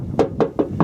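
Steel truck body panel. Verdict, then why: Bare metal. Four knocks on a steel body panel of a 1958 Apache truck, checking for Bondo filler over rust, give short, dull, wooden-sounding taps with a low pitch and almost no ring. The spot sounds like bare metal, not Bondo, though other areas of the truck carry a lot of it.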